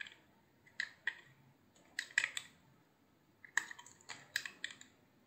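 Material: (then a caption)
Soap. A hand-sized, solid cream-white soap bar with a blue edge is carved into thin slices with a utility knife. Sharp, crisp cuts and slice snaps come in scattered short clusters over quiet pauses, bright and dry with almost no ring. No low end is heard.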